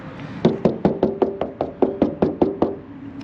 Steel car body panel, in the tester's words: it sounds Hollow so it means it's not all muddied up